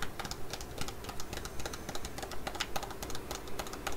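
A full, flat laminated foil Korean sheet-mask sachet is tapped and scratched with long nails. The result is a steady run of quick, crisp ticks and bright crinkly scratches over a low, constant background hum, each tap dying away almost instantly.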